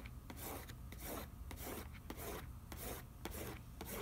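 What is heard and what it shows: Fingertips rub back and forth across the back of a printed cardboard macaroni and cheese box, on its nutrition facts panel, as it lies on newspaper. The result is a steady run of soft, bright, scratchy swishes, with faint sharp ticks between strokes, over a low background hum.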